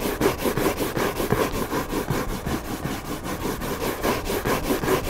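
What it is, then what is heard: Hardcover book cover being scratched. Fingertips and nails scratch the white back cover of a hardcover book lying flat on a table. The result is a steady, rhythmic, papery rasp of quick back-and-forth strokes, with its body in the mid range and a bright hiss on top.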